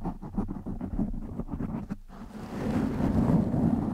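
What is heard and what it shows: Fingertips of both hands scratch and rub the top and sides of a black foam windscreen over a microphone. Quick, uneven scratching bursts with a low, muffled body are heard first. After a brief lull, they give way to denser, steadier rubbing that grows louder toward the end.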